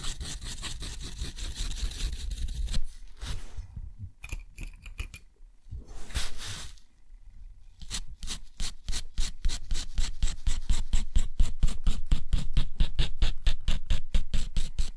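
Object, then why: Steel pen nib on thick textured paper. A steel nib scratches across a sheet of thick, rough, white textured watercolor paper, drawing a wavy border and then short hatching. A steady dry scratch gives way to pauses and a few separate strokes. Then comes a long run of quick, fairly regular, crisp scratching strokes with a bright, papery texture.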